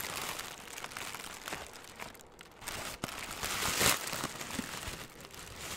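A loosely balled, hand-sized piece of light, airy green crinkly plastic film (cellophane or mesh) is squeezed and crumpled with fingertips right beside the microphone. A steady stream of bright, dense crinkling and crackling runs throughout, with a brief quieter dip around the middle and a louder, brighter crunch just before the four-second mark.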